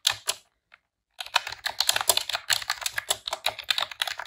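Long press-on nails and fingertips type rapid key presses on a pink retro-style plastic computer keyboard with round keycaps. Two sharp clicks and a faint tap come first, then after a short pause a fast, dense run of bright, crisp clacks with very short decay.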